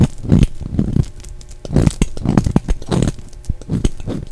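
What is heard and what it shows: An orange and brown striped translucent bar of soap, held in the hand, is shaved with a utility knife blade. Repeated short, dry scraping strokes come in a steady rhythm, each with a deep, muffled body and a quick bright crackle. Each stroke stops almost at once, with no ring.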